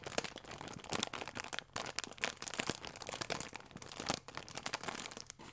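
A small sealed plastic film packet with a croissant inside is held in both hands and squeezed and crinkled with fingertips and long nails. Dense, bright crackling crinkles come in quick bursts with sharp peaks, broken by a few brief pauses.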